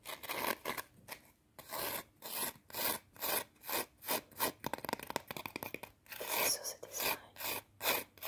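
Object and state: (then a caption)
Potato chip scratched with fingernails. A single small, thin, curved fried potato chip (Pringles-style), solid and brittle, is held in the fingers and rapidly scratched and rubbed with long teal acrylic nails. The result is a fast run of dry, bright rasping strokes with almost no low end, separated by brief pauses, turning into a choppier flurry of short scrapes midway.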